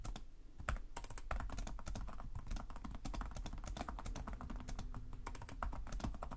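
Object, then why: Plastic laptop keyboard keys. Both hands type rapidly with short-nailed fingertips on the plastic chiclet keys of a black laptop resting on a desk. Quick, overlapping clicks and taps run continuously with a low thumping undertone, too dense to count individually.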